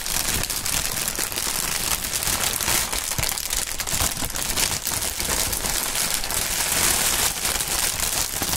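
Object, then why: Polyethylene air-pillow packaging film. Clear polyethylene air-pillow packaging, hollow and partly deflated, is crinkled and shaken by gloved hands. A steady, bright rustle of dense crackles runs through the whole clip with no pauses.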